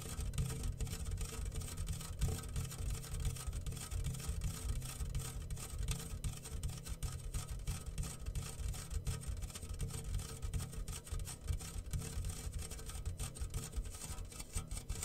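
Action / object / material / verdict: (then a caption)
shake / metal tin rain drum with loose grains / metal / none. A homemade rain drum made from a medium round, yellow-painted hollow metal tin with clear plastic film stretched over the open top and small loose grains inside is held in both hands and slowly tilted and rocked. The grains roll and patter across the film in a steady, dense rustling wash with a heavy low rumble and faint bright hiss, continuing evenly throughout.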